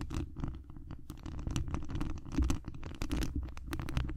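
Long acrylic nails of both hands scratch the hollow mesh wire grille on the dome head of a large cylindrical condenser microphone. The result is a dense, rumbling scratch, heavy in the low end, with rapid bursts of short, dry high ticks and patters layered on top.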